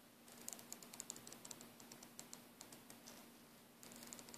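Fingers and a thumbnail squeeze, rub and scratch the woven nylon braid of a coiled green airbrush air hose. The result is a quiet run of quick, crisp, high scratchy clicks, like light typing, with a short lull near the end before they resume. A faint steady low hum sits underneath.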